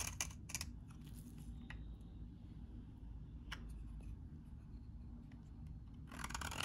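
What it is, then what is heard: Dry bar soap being shaved. A metal utility knife blade cuts crunchy shavings from a solid, dry, beige-tan bar of soap. Short, bright, scraping crunches come in bursts over a steady low background hum, with a longer rough scrape at the end.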